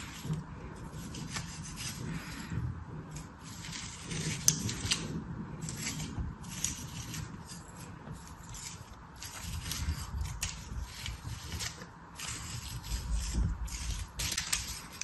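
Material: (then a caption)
Sand. A small metal knife slices and scrapes through a solid slab of kinetic sand shaped in an orange plastic star mold held in one hand. Soft, gritty rubbing and scraping strokes come in repeated bursts, with a bright hiss over a low, muffled rumble.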